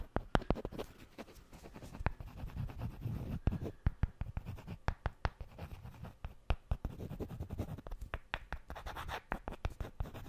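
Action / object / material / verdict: scrape / two wooden blocks / wood / none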